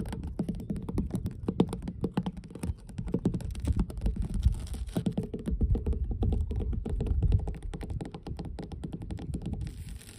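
Long blue nails tap and scratch across solid, weathered wooden dock planks in a rapid, continuous run of short, dull knocks. The sound is deep and thuddy, with nearly all of its weight in the low end and very little brightness. Each tap dies away almost instantly, with scratching filling the gaps between them.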